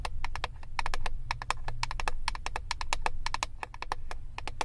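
Long acrylic nails tap rapidly on the clear plastic lid of a flat eyeshadow palette, making a quick run of short, dry clicks. Each click is bright with a pitch around 875 Hz and dies away almost at once, over a steady low rumble underneath.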